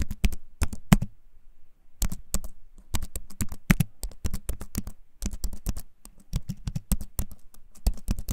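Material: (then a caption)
Wood. Fingertips type on a compact wooden keyboard held close up, producing quick runs of short, dull key taps. The taps have a low, woody thump with very little brightness. They come in bursts separated by brief pauses.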